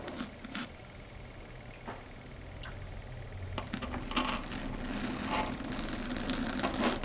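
Long red stiletto nail tips tap rapidly on a flat, solid, dark grey chalkboard surface. Quick, slightly uneven, bright clicks sit over a faint low hum. The tapping grows denser and louder in the second half.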